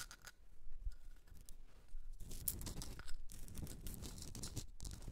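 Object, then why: Rock salt candle holder. Long red nails scratch the sides of a hand-sized pink Himalayan salt rock candle holder standing on a fur rug. The result is a dense, dry rasping and crackling with bright gritty bursts over a low rumble.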